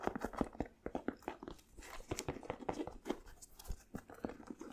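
A single white Nike basketball sneaker with a synthetic upper and rubber sole, hollow and empty, is held up in both hands while fingers and nails tap and scratch its upper and sole. The result is a quick, irregular run of dry, muffled taps with short scratchy rustles between them. Each sound stops almost instantly with no ring.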